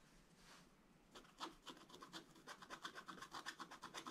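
A wooden stylus scratches lines into the black coating of a scratch-art paper page. A soft, breathy rub comes first, then a quick, uneven run of short, bright, raspy strokes at about four per second.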